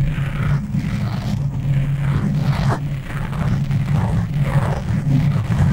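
Both hands scratch and rub a soft, porous black foam windscreen on a tabletop microphone with long natural nails and fingertips. The result is a continuous, close, low rumbling scratch, with brushy swishes rising and fading in the middle range as the strokes move across the foam.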